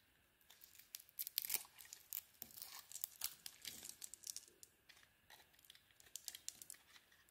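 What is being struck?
Soap bar.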